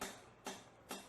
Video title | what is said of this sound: Ep.17d- PROJECT: AE86 - Corolla Sr5 to GM 7.625 Rear End Conversion Part4 (Final) | keep tapping it until the seal is fully seated against the housing you can hear a slightly different sound whenever you're tapping whenever it's fully seated